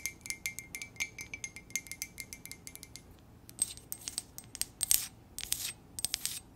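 An empty white ceramic K coffee mug, hollow and held up, is tapped and scratched with long acrylic nails on its side and base. A quick run of crisp, bright taps rings briefly with a faint glassy tone, then after a short pause comes rougher, hissy scratching mixed with more sharp clicks.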